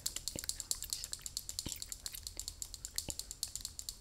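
Fingers tap rapidly on a Lysol tin spray can, producing dense, bright metallic clicks that ring briefly, with a few low thumps underneath. Gum is chewed throughout, in a quiet space.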